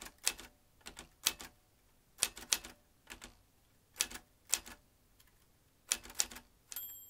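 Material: Metal.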